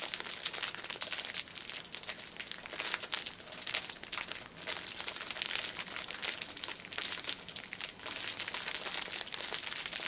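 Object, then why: Plastic-wrapped pack of paper pocket tissues. A hand-held, plastic-wrapped six-pack of paper pocket tissues is squeezed and bent so the cellophane film crinkles under the fingers. The result is a steady, bright, dense crackling with almost no low end, running throughout with brief quieter dips.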